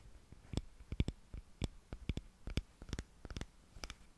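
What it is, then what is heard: Glass candle holder. A palm-sized, hollow, open-topped frosted yellow glass tealight holder is held in both hands and tapped and scratched on its outer surface with long fingernails. The result is a quiet, irregular series of short, dry clicks, each with a soft low thump and a faint bright tick that dies away almost instantly, with light scratching between the taps.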